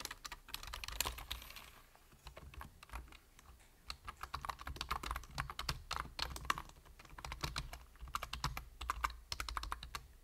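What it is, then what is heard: Plastic computer keyboard. Fingertips rapidly tap the plastic keys of a full-size black plastic computer keyboard with a hollow body, making a fast run of sharp, bright clicks. The clicks come in bursts with brief lulls, over a steady low hum.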